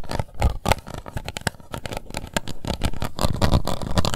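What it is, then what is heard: Plastic cup scratched and tapped with nails. Long white nails scratch and tap the base and sides of an empty, hollow, translucent pink plastic cup held in one hand. Rapid, irregular clicks and taps sit over a continuous scratchy rustle, with most energy low and brief bright ticks. Each tap dies away almost instantly.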